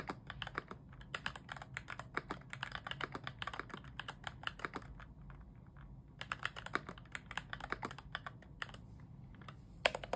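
Both hands type with their fingertips on a full-size mechanical keyboard fitted with yellow switches and a foam mod. It has a white plastic case and cream, grey and orange plastic keycaps, and lies on a bed sheet. A fast, steady run of short, crisp clacks with a bright edge pauses briefly around the middle, then resumes over a faint low background.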